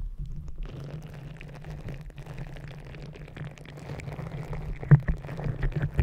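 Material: Rubber.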